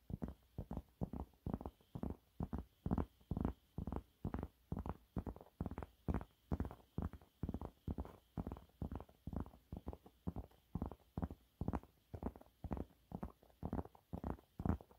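Fingernails rapidly scratch the surface of a yellow waffle-textured cleaning cloth held upright. The result is a steady series of short, dry, muffled scratching strokes, about two per second, low in tone with little brightness.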